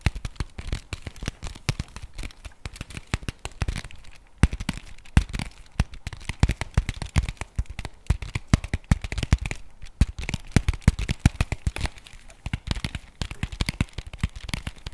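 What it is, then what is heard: Cardboard chocolate bar box. Fingertips and nails rapidly tap and scratch a flat printed cardboard chocolate bar box held upright. The result is a dense, uneven run of short, dry taps with a dull low thump, mixed with crackly scratching and brief pauses. Each hit dies away almost instantly.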